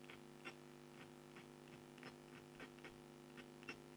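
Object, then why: Coated scratch-art board scraped with a stylus. A red scraper pen scratches into the coating of an A4-size black scratch-art card, a coated board held flat with one hand. Short, bright, scraping strokes sound in an irregular series over a steady low electrical hum.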